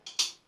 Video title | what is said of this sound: One Blade's Genesis: A Two Pass Shave with Stirling's Ozark Mountain Shaving Soap. Excalibur Result. | Give it a shake, you can hear the head clicking.